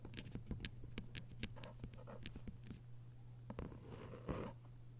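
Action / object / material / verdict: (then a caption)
tap / hardcover book with paper dust jacket / paper / none. Long acrylic nails tap and scratch across the paper dust jacket on the front cover of a closed, thick hardcover book lying flat. Quick, crisp clicking taps with short papery scratches play over a steady low hum, the bursts coming in a busy, uneven rhythm.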